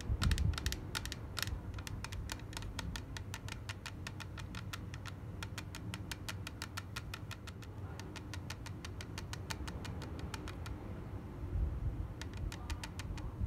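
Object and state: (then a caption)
Clear plastic case. Long black nails tap and click rapidly on the surface of a small, clear plastic case with cotton pads inside, held in the hand. Crisp, bright, short clicks come in a fast, steady stream over a soft, constant low rumble, with a brief pause near the end before the tapping resumes.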